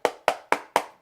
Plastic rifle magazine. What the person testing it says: sounds hollow it is hollow and it just feels more plastic